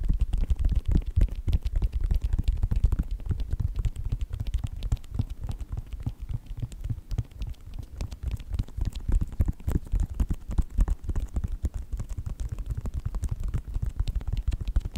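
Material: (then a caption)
Synthetic leather. Fingertips and nails tap quickly on the side panels of a white Nike sneaker with a synthetic leather upper. The result is a dense, irregular patter of short, soft, dull taps, heavy in low thumps and with almost no brightness.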